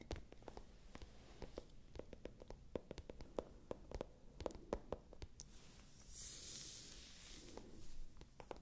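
Long nails scratch a small, hollow, pale pink patent leather clutch held upright, making a quiet, rapid series of sharp clicks and scratchy ticks over a low hollow rumble. Midway through, the ticks give way to a soft, bright hiss of nails sliding across the glossy surface, then the clicking resumes.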